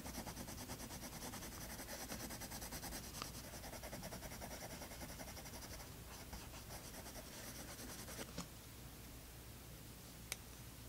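A colored pencil scratches and rubs in quick shading strokes across a toned tan paper sketchbook page, making a soft, steady, scratchy rasp at roughly three strokes per second over a low hum. After about eight seconds the strokes thin out, and two brief sharp ticks stand out near the end.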